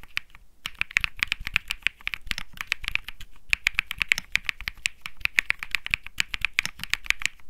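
A cream Think 6.5 65% mechanical keyboard with Bsun Lollipop switches and plastic keycaps, resting on a felt desk mat, is typed on rapidly with the fingertips of both hands. The result is a dense, steady stream of short, bright, clacky keystrokes centered around 2 kHz, each dying away at once.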